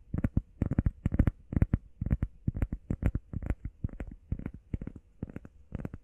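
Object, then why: EVA foam pad. Long painted nails and fingertips tap and scratch fast on a solid, hand-sized, flat grey textured EVA foam workout pad shaped like a heart. Quick bursts of dull, low, muffled thuds come in irregular clusters, each dying away almost at once, with faint bright nail clicks on top.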